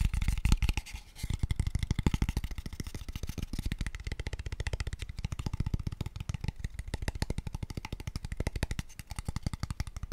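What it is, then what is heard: Hollow empty wooden box. Fingertips and nails tap very rapidly on a small, empty, hollow, pale wooden square tube box. The result is a steady, dense stream of short, hollow, low thuds with clicky high edges from the nails, each knock dying away almost at once.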